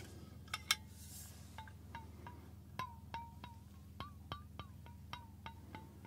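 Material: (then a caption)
Stainless steel. A fingernail taps the flat base of a stainless steel water bottle in a series of separate, quick strikes. Each tap gives a bright, chime-like metallic ping with a short ring that bends slightly in pitch. A steady low hum sits underneath throughout.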